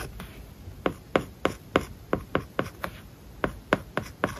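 A plastic stylus writes words on an iPad lying flat, its glass screen covered with a matte plastic paper-like film. The result is a quick series of short, sharp ticks and taps with light scratching between them, each click dying away almost instantly over a soft, quiet background hiss.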